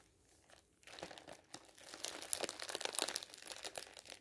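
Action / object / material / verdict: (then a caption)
scrape / thin polyethylene plastic bag / plastic film / none. A thin, clear polyethylene bag wrapped around a folded soft item on a table is crinkled by fingertips and hands. After a quiet start, a dense run of bright, crisp crackles and rustles begins, with no low end and sharp high snaps that stop instantly.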